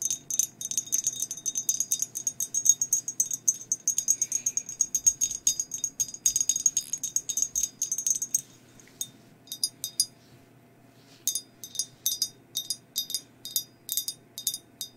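Long nails tap and scratch the body and rim of a hollow, glazed ceramic skeleton mug held in both hands. Quick, bright clicks with almost no ring come in a dense run for about eight seconds, then thin out, pause briefly, and return as spaced, evenly timed taps.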